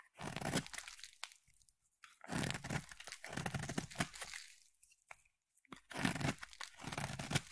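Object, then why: Bar of soap. A utility knife blade held against a solid purple oval bar of soap carves off crunchy shavings. Three bursts of dense, crackling scraping are heard, separated by short quiet gaps, with a full low body and bright crisp edges.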